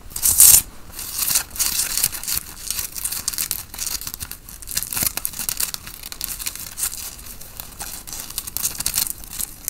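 Long fingernails of both hands scratch over the printed logo on a grey and black tie-dye cotton t-shirt worn by a person. A loud, bright rasp opens the clip, then softer, steady scratching continues with quick fabric crackles throughout.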